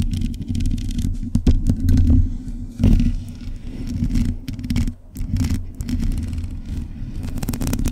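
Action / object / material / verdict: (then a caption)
scrape / metal mesh microphone grille / metal / none. Long acrylic nails scratch across a hollow black metal mesh microphone grille. The result is a dense, continuous low scraping rumble, laced with quick, bright crackly ticks that come and go as the nails drag over the mesh.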